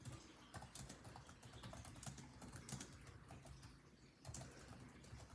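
Fingertips of both hands type rapidly on a built-in laptop keyboard with dark plastic chiclet keys set in a grey laptop body. A quiet, steady stream of short, dry taps follows, each with a soft low thud and a bright click that dies away almost at once. There is a brief lull near the end before the typing picks up again.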